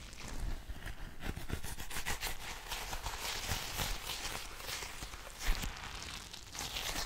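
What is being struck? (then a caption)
Soft rubber stress ball filled with water beads. A full, palm-sized blue soft rubber squishy stress ball filled with water beads is patted with a flat hand and tapped with fingertips and long nails. The result is a steady run of soft, dull low thuds mixed with crisp, bright clicking nail taps, with one sharper tap standing out near the end.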